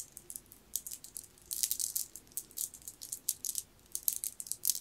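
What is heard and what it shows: A long green jade bead necklace of solid, round, jade-like beads is held up, handled and shaken in the hand. The beads clack together in quick, bright, rattling bursts with almost no low end. Each click dies away almost instantly.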